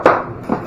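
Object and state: Hollow-sounding floor tile.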